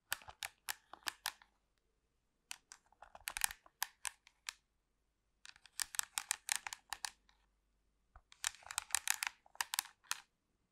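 Long pink acrylic nails tap and scratch the casing and buttons of a hollow black plastic TV remote control held next to the microphone. Four bursts of quick, bright, dry plastic clicks and scratches are heard, with no ring and short silences between.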